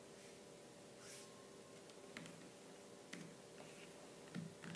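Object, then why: Plastic laptop keyboard. Fingertips with long purple nails type on the black plastic keys of a laptop keyboard, giving sparse, soft clicks and taps. A few sharper key strikes stand out against a steady low hum.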